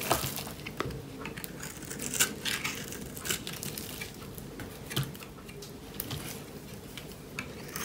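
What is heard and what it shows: A metal knife blade scrapes and cuts across the surface of a dry, hand-sized solid bar of purple and pink striped soap held in one hand. Crisp, bright scratching and crunchy clicks come in uneven bursts over a steady low background rumble, each ending quickly with almost no ring.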